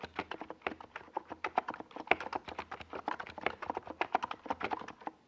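A compact 68-key NiZ Plum Atom 68 mechanical keyboard with a hollow white plastic case and purple and yellow Domikey Gas Attack SA plastic keycaps sits on a desk pad and is typed on rapidly with the fingertips of both hands. About thirty short, dry plastic clacks follow in quick succession, each dying away almost instantly, with a hollow mid-range tone around 750 Hz and a bright top.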